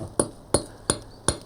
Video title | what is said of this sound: Time Team Special: Rediscovering Ancient Britain - Classic Special (Full Episode) - 2012 Dorset | if you tap it on the floor, you can hear how hard it is